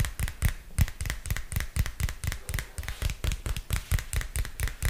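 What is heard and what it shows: A purple spiral-bound notebook with a textured plastic cover, held close to the mic, is tapped with fingernails in a quick, uneven rhythm. Each tap is a short, dull thump with a bright clicky edge that dies almost instantly.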